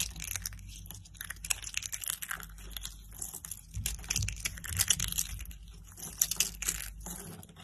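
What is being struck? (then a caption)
Dry soap curls and shards. Blue-and-white striped dry soap curls and their broken shards are crushed between the fingers, giving dense, bright crackling and crunching with sharp snaps throughout. Then the pile of shards is gathered and scooped by hand, adding a rustling, grainy shuffle.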